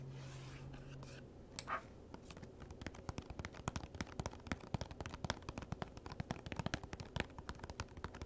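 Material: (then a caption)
Cardboard. Fingernails tap quickly on the lid of a small, hollow, printed cardboard gift box lying flat. After a soft scratchy rustle and a faint low hum at the start, a fast, irregular run of short, dry clicks follows. Each click dies away almost instantly with a hollow, low-weighted knock.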